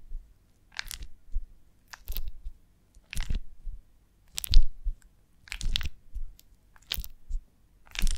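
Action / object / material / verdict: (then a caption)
scrape / beeswax honeycomb on a branch / beeswax / none. A beeswax honeycomb on a branch is cupped in the hands while long nails tap and scratch across its comb cells. Short bursts of dry, crunchy crackling with bright scratchy edges come at regular intervals over a deep, muffled low thump, with quiet gaps between each burst.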